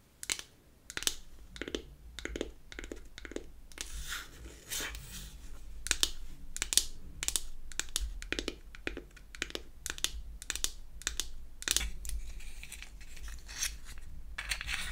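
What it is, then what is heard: Wooden powder compact. Long acrylic nails tap a square, unfinished beech-wood powder compact, first on the closed lid and then inside once it is opened to show its mirror. The taps come in a quick, irregular series of sharp, dry, bright clicks that stop almost instantly. A steady low hum runs underneath.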